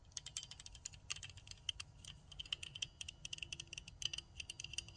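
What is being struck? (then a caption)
Plastic nail tip cutter with metal blade. Long nails rapidly tap and scratch the handle and clicking parts of a pink plastic nail tip cutter with a spring and a metal blade. Dozens of quick, bright, sharp clicks with almost no ring sit over a faint low rumble. The tone centers around 3 kHz.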